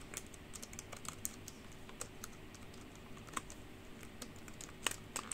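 Long pink nails type fast on a black plastic computer keyboard, clacking and tapping on its hollow keys. Quick, bright, sharp clicks come in an uneven stream over a steady low hum, with a few louder taps standing out.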